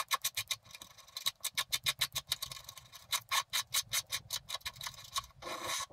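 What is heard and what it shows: A wooden stylus scratches the black coating off a flat scratch-art card in the grass area with rapid strokes, producing a fast series of short, bright, crisp scraping bursts. The clip ends with one longer, continuous scrape.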